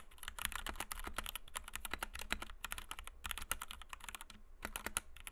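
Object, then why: Plastic mechanical keyboard with PBT keycaps. Both hands type rapidly on a compact white 60% Kemove DK61 mechanical keyboard with Gateron Red switches, PBT doubleshot keycaps and a plastic case, resting on a desk mat. A dense stream of short, bright, clacky keystrokes sounds over a steady low hum, with brief pauses between bursts.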